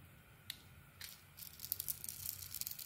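A metal utility blade shaves the speckled outer layer off a solid, speckled cream Lux soap bar held in the palm, peeling it away in curls. Two faint scrapes are followed by a run of quick, crisp, bright scraping and cutting strokes over a low background hum. The whole clip is quiet.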